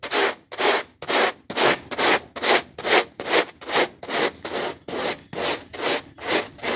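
A small, foamy, foot-shaped textile pile rug is held flat by hand and scrubbed with a plastic bristle brush. The brush makes a steady series of broadband scratchy strokes, about 16 of them at roughly 140 per minute, bright with no low end.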